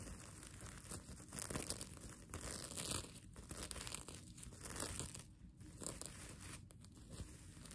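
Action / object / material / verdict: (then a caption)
scrape / plastic sequin fabric / plastic / none. Long nails scratch across the plastic sequins of a mermaid tail blanket, flipping them, while the sequin fabric is crumpled in the hands. The result is a steady, dense rustle of scratchy crinkling and bright clicking, with soft swells and brief dips in loudness throughout.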